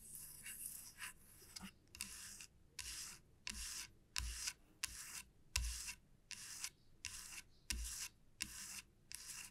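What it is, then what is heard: Wooden comb scratched with nails. Long nails tap and rub across the surface and teeth of a solid light-wood wide-tooth comb lying flat on a felt mat. Thirteen short bursts of bright, scratchy rasping come in an uneven rhythm, separated by brief pauses, with a few soft low taps mixed in.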